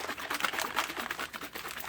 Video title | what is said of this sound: Delphi Homicides - Press Conferences - Words of Advice - In the Painting | I love that sound of the glass clicking.